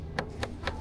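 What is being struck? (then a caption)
Watermelon. A watermelon in a store is flicked with a finger to check its ripeness, giving three short, hollow thumps about a quarter second apart. Each flick has a brief resonant ring around 400–500 Hz over a steady low background hum. No verdict on ripeness is given.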